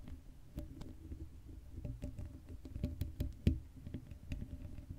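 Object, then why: Metal mesh microphone grille. Long acrylic nails scratch the hollow black metal mesh grille of an uncovered Blue Yeti microphone while hands cup its dome. The sound is a low, muffled rumbling scrape dotted with short, sharp clicks and taps, the loudest snap landing near the middle of the clip.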